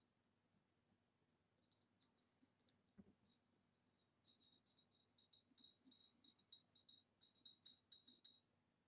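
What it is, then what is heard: Glass vase tapped with fingernails. Long nails tap the rim and sides of an upright, hollow, empty ribbed green retro glass vase, making quick, bright, high clicks with only a short glassy ring. After a lone tap and a pause, the tapping builds into a fast, uneven flurry over a faint low hum.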